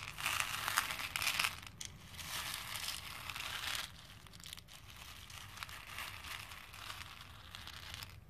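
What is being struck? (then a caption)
Plastic faux pearl beads in a plastic bowl. A hand scoops a few small plastic faux pearl beads in a pink plastic bowl, lets them drop, then stirs them with fingertips and nails. Bright, dense clicking and rattling comes in two louder bursts during the first four seconds. It then settles into a softer, continuous crinkly patter as the beads are stirred.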